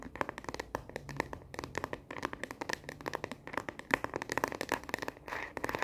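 Long fingernails tap fast and aggressively on the back of a smartphone in a translucent plastic case, held horizontally in both hands. Many rapid, sharp clicks with a bright, hollow plastic tone follow one another with barely any ring, broken by brief pauses and a short scratchy rustle near the end.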